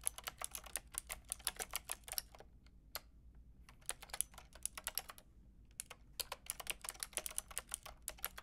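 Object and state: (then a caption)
Plastic mechanical keyboard. Fingertips with long red nails rapidly tap the round pink and grey plastic keycaps of a Lofree mechanical keyboard with a white plastic case. The clicks are sharp, bright and clacky, with almost no ring, coming in quick bursts separated by a couple of short pauses over a low, quiet background hum.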